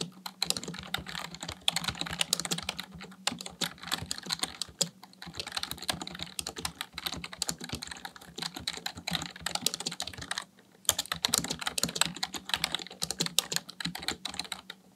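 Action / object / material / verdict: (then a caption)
tap / plastic computer keyboard / plastic / none. Both hands type with their fingertips on a full-size black plastic computer keyboard, producing a fast, steady stream of bright, short clicking keystrokes. The typing runs in bursts with brief pauses near 3, 5 and 10.5 seconds, over a faint low steady hum.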